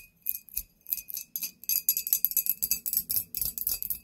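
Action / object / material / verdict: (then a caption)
tap / glass bottle / glass / none. Long nails tap a tall, clear, embossed glass bottle with a label, hollow and apparently empty. About twenty quick, bright clicks land in uneven bursts of roughly four per second, each with a very short ring and a faint steady tone near 2.6 kHz. There is almost no low end.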